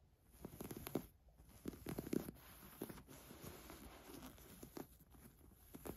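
Long nails scratch across the surface of a black ribbed knit top lying flat. The result is soft, dry scratching and rustling, with a few louder scrapes standing out against a quiet, low hiss.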